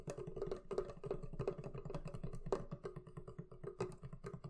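Long nails tap and scratch the wooden lid top and back sides of a medium, hollow, closed wooden barrel chest. Rapid dry taps come with a hollow low knock and a faint tone near 390 Hz, and each tap dies away almost at once.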